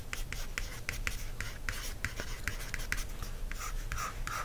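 A wooden stick traces lines across a date-due printed cardstock notebook cover, making a run of short, dry scratching strokes with a bright papery edge over a steady low rumble. Fingertips then rub the cover, giving a softer, smoother brushing sound near the end.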